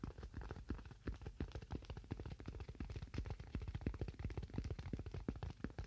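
A thin white styrofoam sheet, held in one or both hands, is tapped with fingernails in a quick, irregular stream of soft taps. Each tap is dull and low-heavy with a brief hollow thump and almost no ring, with little high end.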